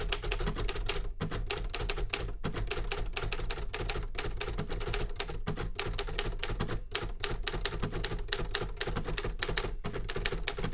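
A metal manual Remington Super Riter typewriter is typed on with rapid fingertip taps on the keys, giving a dense run of sharp, bright clacks with very short ring. The taps pause briefly now and then, over a steady low hum.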